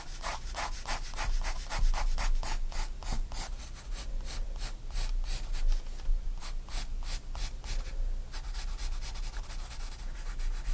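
A graphite pencil draws light strokes on a spiral-bound paper sketchbook page, making a quick series of bright, scratchy strokes over a steady low rumble. The strokes come in irregular bursts, with a short lull near the eight-second mark before they pick up again.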